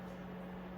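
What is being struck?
Nothing is struck.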